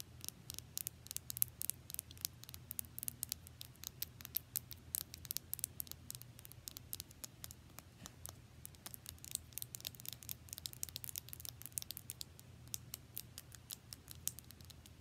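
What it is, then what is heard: Plastic lip gloss tube. A small pink metallic plastic lip gloss tube, held horizontally, is rapidly tapped and scratched with long nails. The result is a quiet, steady stream of sharp, bright clicks and scratchy ticks over a low background hum.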